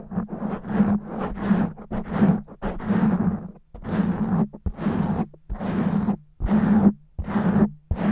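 One hand with long natural nails scratches fast and roughly on a black foam microphone windscreen. The result is a run of loud, rasping, crackly scratching bursts with a low humming rumble underneath, separated by brief quiet gaps.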